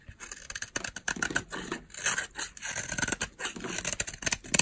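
A palm-size, solid oval bar of dry pink soap is held in the palm and carved and scraped with a utility knife blade. The clip is a quick run of crisp, bright scraping and shaving strokes, with sharp little crackles over a thin, hissy texture and almost no low end.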